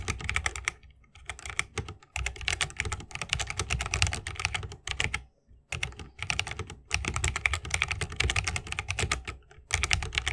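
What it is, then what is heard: Mechanical keyboard with bamboo case and plastic keycaps. A 60% mechanical keyboard with Holy Panda switches, a bamboo case and plastic keycaps is typed on continuously with the fingertips of both hands. Rapid, bright clacks blend with a low thock in steady bursts, separated by brief pauses.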